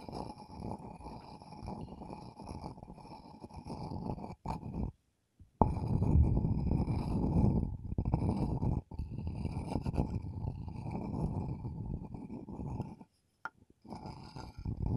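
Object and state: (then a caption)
Wooden mortar and pestle. A wooden pestle held in the fingers is ground and rubbed around the inside of a hand-sized, hollow, bowl-shaped wooden mortar with visible wood grain, apparently empty, in front of a TASCAM recorder. It makes a continuous low, rough grinding rumble with faint bright scratchy overtones. The grinding stops briefly a few times before resuming.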